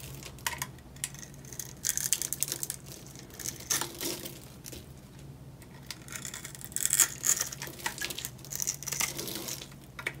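A small metal blade scrapes and cuts into the surface of a solid, dry, hand-sized orange bar of soap, already scored with cut lines and held in one hand, chipping off crumbly flakes. Bright, crunchy crackles and gritty scraping come in irregular bursts over a faint low hum.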